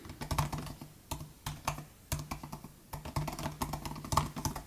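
Both hands type with their fingertips on the plastic butterfly keys of a 2018 MacBook Air laptop keyboard. Quick, dry clicks come in short bursts with brief pauses between them, each tap a dull low knock with a little bright snap on top that dies away almost at once.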